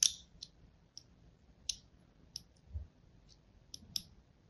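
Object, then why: Bar of soap. A thin blade scratches a crosshatch pattern into the surface of a solid white Duru soap bar held in the hand. Seven short, bright, high-pitched clicks sound at irregular intervals, each dying away almost instantly against a quiet background.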